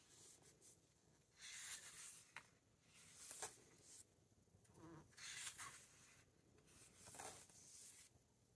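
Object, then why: Matte paper pages of a large hardcover book. Fingertips rub the matte paper pages of a large open hardcover book and turn them, making soft, bright papery swishes and rustles. About five quiet page-turn bursts rise and fade with short pauses of low hiss between them.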